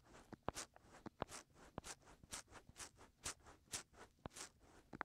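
Short fingernails scratch the soft white silicone ears of a 3Dio binaural microphone, working along the outer rim and into the ear openings. The result is a quiet, close, rhythmic run of bright, hissy scratching strokes broken up by sharp little clicks and taps.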